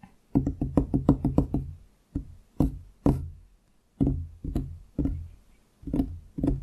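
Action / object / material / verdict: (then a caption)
tap / wooden desktop / wood / none. Both hands drum and tap fingertips on a large solid wooden desktop beside the microphone. A quick roll of taps is followed by slower, spaced knocks, each a dull, low, woody thud with a hollow tone around 277 Hz that dies away almost at once.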